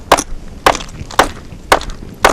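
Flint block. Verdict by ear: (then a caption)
Cracked. A cracked flint block is tapped five times, each tap giving a short, dull, mid-pitched clack that dies away almost at once with a brief rattle. The block is not solid, and the flat, dead sound reveals the many cracks and lines running through it.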